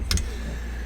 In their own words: It almost sounds like plastic or metal when you tap it, but it's not. It is micarta.